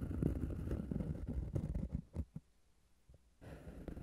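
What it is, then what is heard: Cork pad scratched and tapped. Fingertips and nails scratch and tap a flat, solid, round cork disc resting on the recorder, producing a dense, low, muffled rustling for the first two seconds. This thins into a few soft, separate taps with near-silence between them, then the low scratching starts again near the end.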